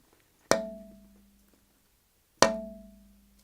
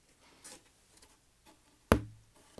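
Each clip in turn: First: resonant redwood soundboard. Second: dead-sounding corrugated cardboard.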